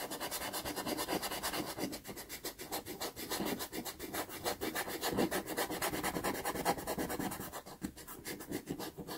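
A cotton swab is rubbed over the pastel layer around a drawn eye on a small taped sheet of sanded Pastelmat pastel card to blend it. The result is a steady run of quick, dry, scratchy rubbing strokes in a loose, uneven rhythm, each a soft bright hiss with little low end.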